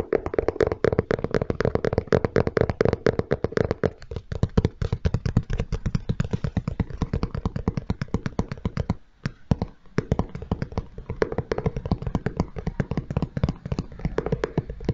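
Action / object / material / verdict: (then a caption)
tap / leather sneaker / leather / none. Fingertips and nails tap rapidly on the side panel of a single grey and white Nike Air Jordan 1 Low sneaker with a leather upper, hollow and empty, held up by the mic. The result is a dense, steady stream of short, dry, dull taps with no ring, mostly low in pitch. There is a brief pause a little past the nine-second mark before the tapping resumes.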